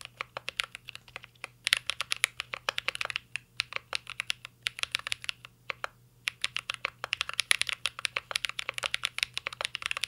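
Fingertips type continuously on a mint-green Cyberboard R3 mechanical keyboard with plastic keycaps and a metal case. About 63 sharp, bright key clicks come in quick irregular bursts, with brief pauses near 3 and 6 seconds. Each tap is crisp and dry, with almost no low end and no ring.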